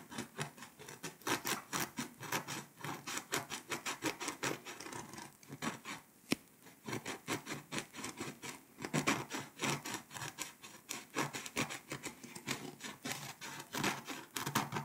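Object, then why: Foil-coated paper scratch-off map. A pink scraper tool rubs and scratches the foil coating off Lithuania on a flat, foil-coated paper scratch-off map poster. Rapid, evenly repeated dry rasping strokes carry bright, high hiss, pausing briefly near the six-second mark with a single sharp click before the scratching resumes at a steady pace.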